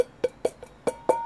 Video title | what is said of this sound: 자석 하나면 누구나 손쉽게 돈을 더 벌 수 있다ㅣ 개미정신으로 무장하자 | 두드리면 이렇게 통통 소리 나지 않습니까